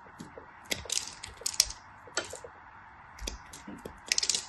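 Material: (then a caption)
Glycerin soap. A small black craft blade, held by fingers with white nails, scrapes a solid yellow glycerin soap bar in short scratchy strokes. About nine crisp, bright scrapes sound, each dry and quickly cut off with no ring, over a faint steady hiss.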